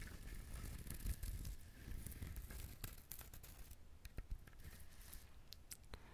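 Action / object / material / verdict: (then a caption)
scrape / whole husked coconut shell / coconut shell / none. Fingernails scratch and tap the shell of a whole brown husked coconut. The sound is a quiet, steady, low-heavy rustling scrape with scattered short, bright ticks from the taps.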